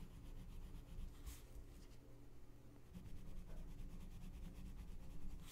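A gloved hand rubs a colored pencil back and forth on the thin paper page of an open coloring book lying flat on a checked cloth, shading the center of a mandala. A quiet, continuous, soft scratchy rubbing is heard, with the strokes repeating in a steady rhythm over a low, muffled background.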